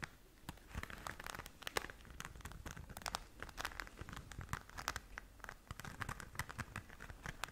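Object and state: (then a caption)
Glitter fabric pouch. Long nails scratch and tap across the glitter surface of a flat, pink, glitter-covered zip pouch, soft and hollow and held in both hands. It produces quiet, dense crackly scratching with rapid, sharp ticks and bright rustling throughout, each tap dying away almost instantly.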